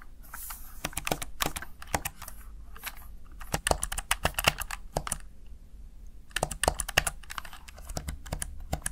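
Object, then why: Plastic keypad. Fingertips tap the keys of a Razer Tartarus Chroma plastic backlit gaming keypad, making quick, sharp clicks that die away almost instantly. The tapping comes in uneven bursts with brief lulls, over a faint low hum.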